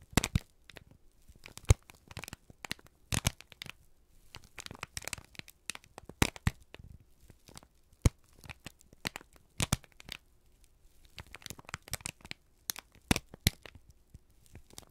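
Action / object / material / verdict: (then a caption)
scrape / thin kraft paper sheet / paper / none. A single thin, crumpled sheet of brown kraft paper is held in both hands and squeezed and crinkled with the fingertips and thumbs. Dense, irregular crackles and crisp snaps fill the clip in clustered bursts, sharp and bright against a low, steady rumble underneath.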